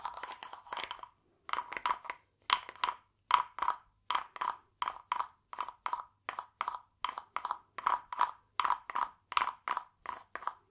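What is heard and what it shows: A small, hollow, carved wooden frog guiro, painted glossy green with a ridged back, is held in one hand and scraped along its ridges with a green wooden stick. It makes a steady series of short, raspy, ratcheting croaks in quick pairs and clusters, with a woody tone centered near 1 kHz and bright upper edges. Each stroke stops almost at once with no ring.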